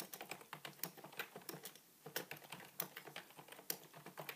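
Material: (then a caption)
Plastic. Fingertips type continuously on a beige full-size plastic computer keyboard resting on a wooden table. About 21 quick, bright clicks come in an uneven rhythm, with a brief pause near the middle. Each keystroke dies away almost instantly.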